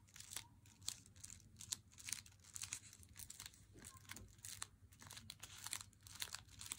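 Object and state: Paper-wrapped chocolate bar, crinkled.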